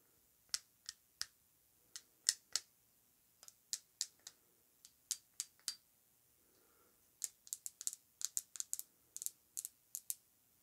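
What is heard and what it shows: A rectangular, thick-walled glass perfume bottle (Narcotica) with a gold cap, filled with perfume and held in the hands, is tapped with long acrylic nails on the glass and the cap. There are 25 sharp, bright, quiet clicks with almost no ring and no low end, arriving in irregular clusters with a pause in the middle.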